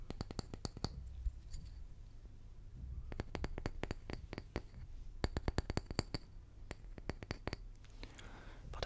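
A small, round, solid wooden tree slice held in the hand is tapped and scratched with fingertips and short nails. Quick, dry, bright clicks come in bursts over a low, steady hum, and a soft scratching rustle rises near the end.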